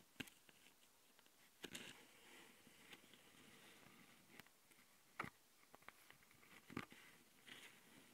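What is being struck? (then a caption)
Plastic handheld audio recorder. A long glitter nail on one hand taps and scratches the top panel of a handheld plastic Tascam audio recorder, between its capsules. Sharp, bright clicks stand out over a soft, hissy scratching that fills the gaps.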